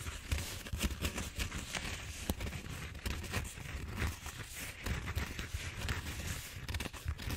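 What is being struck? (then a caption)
Bead-foam roller, expanded polystyrene. Fingertips and nails scratch and crinkle the surface of a large purple bead-foam styrofoam roller, a solid cylinder held diagonally against the head. The result is a steady, dense crackling and scratching with many short, sharp ticks over a heavy low rumble, fluctuating in intensity without pause.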